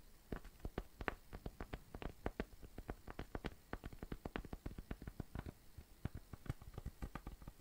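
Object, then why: Cork coaster. A round, flat, tan cork coaster, thin and solid, is tapped and scratched with fingertips and nails. A quick, irregular stream of dull, muffled taps with almost no ring sits mostly in the low range, with faint scratchy texture between them.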